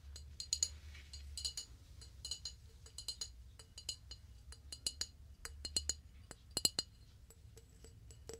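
Fingers tap irregularly on a flower vase in a binaural recording, producing quiet, bright, glassy clinks with a very short ring. The taps come in loose clusters over a faint low rumble.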